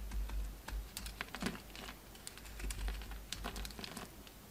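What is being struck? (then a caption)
Bar of soap scraped with a knife blade. A utility knife blade scrapes a solid orange oval soap bar held in the hand, taking off chunky shavings. The result is a run of quick, crisp, bright scratchy crackles and ticks over a low steady rumble.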